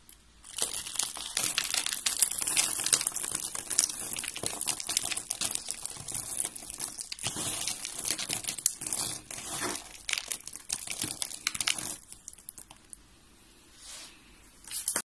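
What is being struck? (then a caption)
Soap pieces crushed by fingers. Fingers crush white and blue pieces of dry soap into small flakes, making a dense, bright crunching and crinkling from about half a second in until roughly 12 seconds. The crackle then thins to faint scattered crunches, with a brief soft swell near 14 seconds and a few last crunches at the very end.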